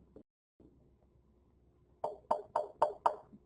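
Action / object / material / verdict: tap / wooden violin plate / wood / none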